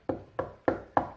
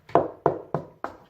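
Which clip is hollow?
The first.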